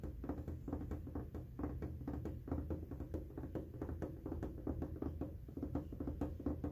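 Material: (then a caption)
Plastic. Short fingernails and fingertips tap and scratch along the flat top panel of a window air conditioner, a large, hollow casing of white hard plastic. Quick, irregular taps give dull, hollow knocks with a low body and almost no high end, each dying away quickly, mixed with soft scratching between them.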